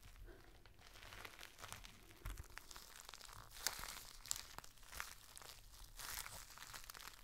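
A clear, thin, flexible plastic rain cover, folded into a small flat bundle about hand-width, is held in both hands over a plain white surface and crinkled, squeezed and rubbed with the fingertips and thumbs. The result is a quiet, continuous bright crinkling and crackling, with a few sharper snapping crackles standing out.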